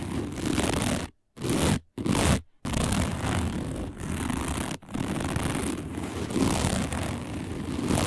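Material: Woven plastic.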